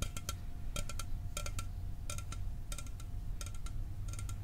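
A sealed, hollow 12 oz Mountain Dew aluminum soda can is held near the mic and tapped with fingernails. Quick clusters of short, dry, bright metallic ticks come in bursts with almost no ring. They sit over a steady low rumble throughout.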